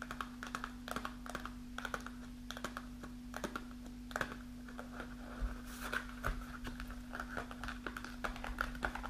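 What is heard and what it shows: Long nails tap and scratch the surface of a kraft paper snack pouch with a plastic window, partly full of dried fruit, lying on a table. Quick, dry clicks come in uneven bursts with a faint papery crinkle between them, over a steady low hum.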